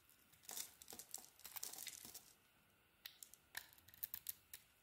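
A rectangular solid soap bar with an orange core and a teal outer layer is held in the hand and shaved with a metal blade that lifts curls. Dense, crisp scraping and carving strokes run for about two seconds, then after a short pause come sharp, separate scrapes. The sound is bright and high with almost no low end, and each stroke cuts off quickly with no ring.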